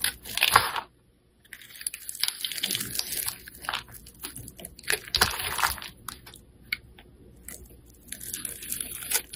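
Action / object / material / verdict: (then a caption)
scrape / bar of soap / soap / none. A metal blade scrapes and shaves the face of a solid white bar of soap with blue stripes held in the hand, releasing flakes. Crisp, bright crunching and scraping strokes come in uneven bursts, with a brief silent pause early on and quieter stretches between louder passes.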